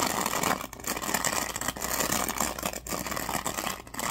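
Fingers rub and scratch the teal-tipped bristles of a black plastic oval hairbrush held in hand. The result is a steady, bright, crackly scratching texture with little low end, broken by a few brief quieter gaps as the strokes pause.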